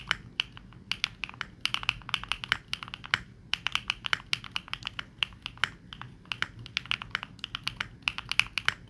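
Both hands type with fingertips on a Neo65 65% mechanical keyboard with dark and pink plastic keycaps. About fifty rapid, separate key taps come through as short, bright clacks with almost no ring and very little low end.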